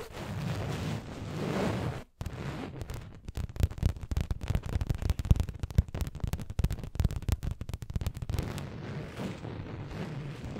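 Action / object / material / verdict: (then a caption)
scrape / fabric throw pillow / fabric / none. Long nails scratch an orange fabric throw pillow with printed text, held behind the microphone. A muffled, low rubbing rustle runs for about two seconds, cuts out briefly, then turns into fast, crackly scratching with dense bursts before easing back to a smoother rub at the end.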